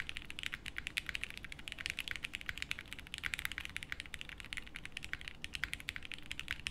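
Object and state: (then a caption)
Mechanical keyboard with plastic keycaps. A 60% mechanical keyboard with beige doubleshot plastic keycaps in a light case, with no plate, rests on a felt desk mat and is typed on continuously with the fingertips of both hands. A steady stream of about 50 quick, dry, bright clacks is heard, centered near 2.2 kHz with a soft low rumble beneath and almost no ring after each keystroke.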